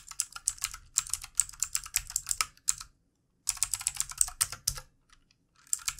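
Both hands type with the fingertips on a full-size backlit plastic mechanical keyboard with plastic keycaps, producing rapid, bright, short clicks with almost no low end. The typing comes in quick bursts broken by two brief pauses, and each keystroke dies away almost instantly.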